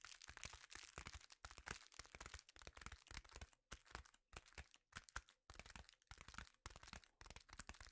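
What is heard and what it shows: A sheet of reflective foil bubble-wrap insulation, held in both hands, is tapped rapidly with the fingertips. The result is a dense run of sharp, crackly, crinkling taps with bright high-end sizzle and a soft low thump under each tap. Brief pauses break up the tapping.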